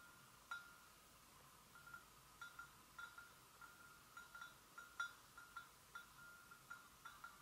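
Long nails gently tap and lightly scratch the sides of an empty white porcelain gravy boat. Eleven soft, separate taps each give a brief bright ring that fades quickly, with faint scratching between them over a quiet background.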